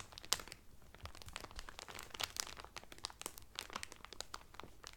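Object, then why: Cellophane wrap over a folded towel. A folded blue terry Carnival towel sealed in thin clear cellophane wrap lies flat on a table while fingertips with medium painted nails press and crinkle the loose cellophane. A dense run of bright, sharp crackles and crunchy crinkles rises and falls over a quiet background, with short, clipped snaps standing out here and there.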